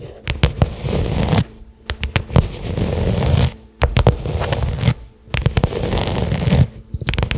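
Long nails rapidly tap and scratch a small, flat black pebbled-leather case lying on carpet. Dense bursts of dull, low-heavy taps and crackly scraping run for about a second or two at a time, broken by brief quiet pauses.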